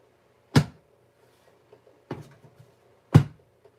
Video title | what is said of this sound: Stamps-N-Lingers. First Look - and how to use the new Stampin Up Stampin’ Cut and Emboss Machine!! | it sounds solid that's how this is